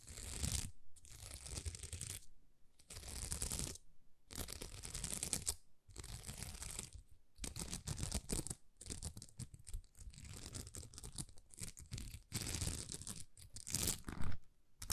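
Long nails scratch across a thin, flexible sheet of small plastic rhinestone stickers. Bursts of dense, crackly scraping fill the clip, with bright high texture over a heavy low rumble and brief silent pauses between strokes.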